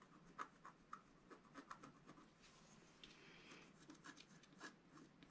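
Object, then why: Black-coated scratch-art paper card scraped with a wooden stylus. A wooden stylus scratches lines into the coating of a flat black-coated scratch-art paper card. Quiet, dry scratching strokes come with short bright ticks and a soft rasping hiss, with no ring after each stroke.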